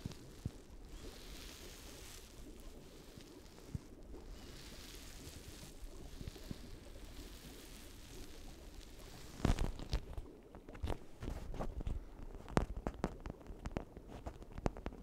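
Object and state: Plastic toy brain.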